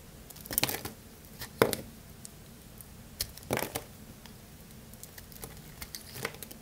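A craft-knife blade repeatedly cuts and scrapes a solid, dry blue bar of soap held in the hand, with chunks falling off. The result is a series of dry, crunchy crackles and short scraping bursts, some bright and sharp, separated by quiet pauses.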